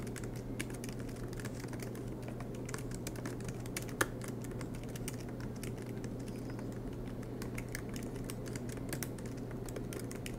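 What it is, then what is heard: Laptop keyboard typing. Both hands type continuously with their fingertips on a silver MacBook Pro laptop, tapping its low-profile black plastic keys set in an aluminium body, with the laptop resting on a desk mat. Soft, rapid clicks stream steadily over a low, constant hum, with one sharper tap standing out near the middle.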